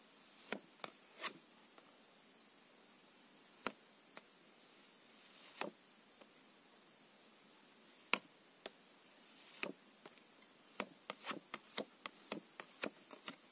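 Two thin, plastic-coated paper playing cards are held in the hands, their edges tapped and rubbed against each other. They make sharp, bright clicks and brief scuffs that die out almost instantly. The clicks come sparsely at first, then in a quicker run near the end, over a quiet, faint hiss.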